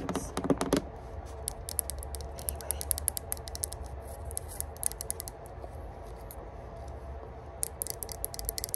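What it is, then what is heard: Metal herb grinder. Long pointed burgundy nails tap quickly on the engraved lid of a small hollow rose-gold metal herb grinder held in the hands. The result is a rapid run of crisp, bright clicks over a low steady hum, with a brief pause in the middle before the tapping picks up again.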